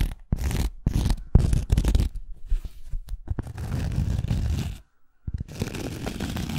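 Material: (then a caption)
Cork. Long acrylic nail tips tap on the edge and surface of a thin round cork coaster held flat. The taps come in dense bursts of dull, low, muffled thuds with a soft scratchy texture, broken by a brief silence near the five-second mark before the tapping resumes.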